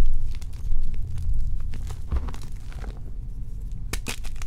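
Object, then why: Gym chalk blocks (magnesium carbonate). A mound of crushed white and pink gym chalk blocks (magnesium carbonate) sits in a bowl while both hands knead and rub it, crumbling the remaining lumps into powder. Soft, dense crunching and gritty crinkling run throughout over a low, muffled rumble, with a few sharper, brighter crackles near the end.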